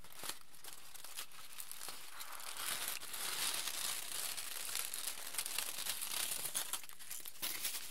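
A wrinkled aluminium foil sheet is crumpled and torn apart by both hands, giving a dense run of bright, crackling crinkles and sharp snaps. The noise starts sparse and quiet, then grows fuller and busier after about two seconds.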